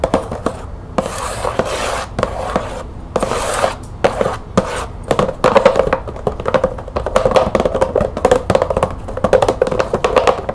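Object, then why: Cardboard box with plastic window. Long nails tap and scratch along the top edge of a green cardboard bulb box with a clear plastic window. Hissy scratching strokes come first, then give way to rapid, dry taps with a slight hollow ring around 530 Hz.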